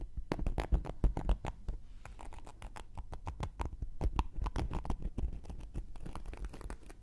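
A round, flat, solid cork coaster held in one hand has its surface and edge scratched with a thin wooden knitting needle. Quick, dry scratching strokes come in dense, uneven bursts, each short and muffled with a low, soft body and no ring.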